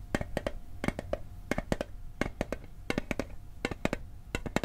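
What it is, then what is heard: Metal mint tin. Fingertips tap the lid and then the side edge of a small, hollow, rectangular metal Altoids mint tin held in the hand. Twenty short, dry, clicky taps land in quick clusters of two and three, each with a low knock and a faint metallic ring in the mids. The ring dies away almost instantly.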